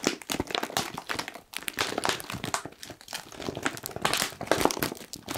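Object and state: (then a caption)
Plastic crisp packet being crinkled. A medium-size, puffed and apparently full Kettle crisps bag of foil-lined plastic is gripped and crinkled by the fingers of both hands. Dense, bright crinkling comes in bursts of sharp crackles with almost no low end, easing briefly into near-silence around 1.5 and 3 seconds before picking up again.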